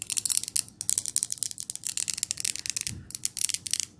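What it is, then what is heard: Glass jar candle. Long nails rapidly tap and scratch the lid and glass of a large glass jar candle with a pine label and lid, filled with green wax, as it is tilted and handled. The result is a dense run of sharp, bright clicks and scrapes with almost no low end and very little ring.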